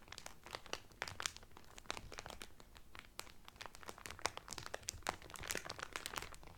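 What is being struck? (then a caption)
Cellophane wrapper around a folded cotton towel. Fingertips press and crinkle the clear cellophane wrapper around a blue Carnival cotton towel folded flat. The result is a dense run of quick, bright crackles and snaps with no ring-out, over a faint low rumble.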